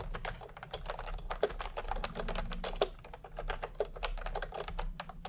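Fingertips type fast on a full-size plastic computer keyboard with round pastel typewriter-style keycaps and a hollow body, resting on a white cloth. A steady stream of quick, short clacks comes through, each with a hollow mid-range knock and little ring. A low hum runs faintly underneath.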